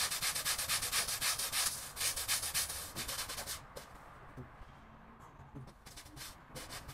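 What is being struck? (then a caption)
Wet textile pile rug scrubbed with a bristle brush. A small grey patterned pile rug, wet and foamy, is scrubbed with a long-handled bristle brush in back-and-forth rubbing strokes. Rapid, rhythmic, bright scratchy swishes come about four per second for the first few seconds. They then fade to a quieter wet hiss with a few scattered softer strokes.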